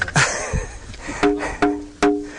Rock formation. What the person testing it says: you get a hollow sound